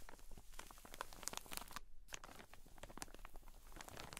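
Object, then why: Soft cotton wool pack in a thin plastic bag. Long decorated nails scratch and tap across a large, soft pack of pleated cotton wool sealed in a clear plastic drawstring bag lying flat on a table. The result is a quiet, dense run of crinkly, crackling plastic scrapes with bright, sharp ticks, broken by a brief pause just before the two-second mark.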